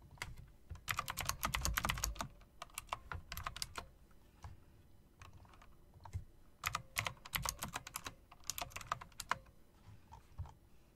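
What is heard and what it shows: Fingertips, then long dark nails, type and click on a plastic and metal typewriter-style mechanical RGB keyboard with round plastic keycaps set in chrome rims. Quick bursts of sharp, bright clacks, each with a soft low thud, come in uneven runs separated by short pauses. Every keystroke cuts off almost instantly with no ring.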